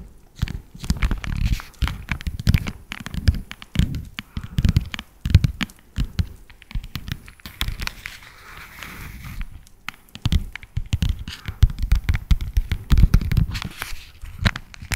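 A small, hollow green Menier cardboard chocolate box is held close and tapped with long nails. The result is a dense, irregular run of soft, dull taps and light scratchy clicks. The sound is mostly low and thumpy and dies away almost at once.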